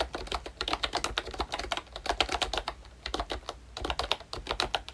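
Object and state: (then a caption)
Plastic membrane keyboard typing. Fingertips type steadily on a full-size ROYCHE Disney Mickey Mouse retro membrane keyboard, which has a hollow plastic case and round plastic keycaps. A rapid stream of short, bright plastic clacks with a hollow mid-range body is heard, each tap dying away almost at once over a faint, steady low hum.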